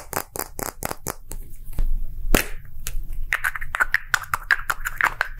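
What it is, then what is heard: Plastic gacha capsule. A small, hollow, round plastic gacha capsule with green and translucent halves is held in the hand and roughly tapped with fingertips and short nails. It gives a quick, uneven series of sharp, bright clicks that die away almost at once, and the later taps add a faint hollow plastic ping over a low background rumble.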